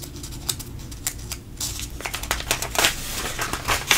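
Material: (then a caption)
Paper. Fingertips flatten a page of a thin paper coupon mailer booklet lying open, then turn the page over. Soft, steady rubbing gives way to louder, bright crinkling rustles with sharp papery ticks as the page lifts and lands.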